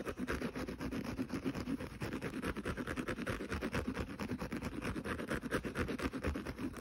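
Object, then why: Synthetic abrasive scouring pad of a kitchen sponge. Fingernails scratch rapidly across the rough green synthetic abrasive side of a small rectangular kitchen sponge lying scouring side up on carpet. A dense, steady stream of quick scratchy strokes produces a dry rasping texture with bright hiss over a low rustle, continuing without pause for the whole clip.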